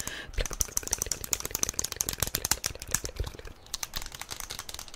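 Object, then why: Small plastic toy figure. A small yellow plastic SpongeBob figurine is held in both hands and tapped quickly with long nails. The result is a rapid, uneven stream of dry, bright clicks that die away almost instantly.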